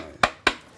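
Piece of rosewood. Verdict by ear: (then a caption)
Resonant. A piece of rosewood balafon wood is struck twice, giving two sharp, resonant knocks with a mid-range tone that sounds like a tom-tom drum. Each hit decays quickly. The wood resonates well, which is why it sounds good.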